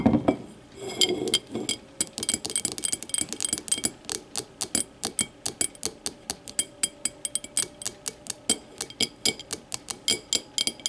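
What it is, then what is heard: Glass tumbler tapped with nails. Long matte nails tap and scratch the base and wall of a small, empty, clear glass whiskey tumbler lying on its side. A brief scratchy rub opens the clip, followed by a quick, steady run of bright, short clinks and taps with very little ring or low end.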